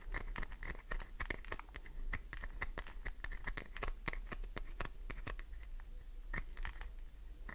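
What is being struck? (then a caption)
Glycerin soap bar. Long nails tap fast on the top surface of a solid green glycerin soap bar, like typing, producing a rapid, uneven run of sharp, dry clicks and scratchy ticks. Each tap dies out almost instantly over a steady low hum. A faint tone holds near 2 kHz throughout.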